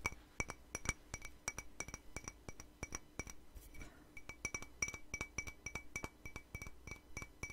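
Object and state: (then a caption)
Ceramic mug. Long nails tap a hollow, empty white patterned ceramic mug in a quick, steady series of light clinks. Each tap gives a bright, glassy ping centred near 2.3 kHz that dies away almost at once. The tapping pauses briefly just before the four-second mark, leaving a soft brushing sound, then resumes at the same pace.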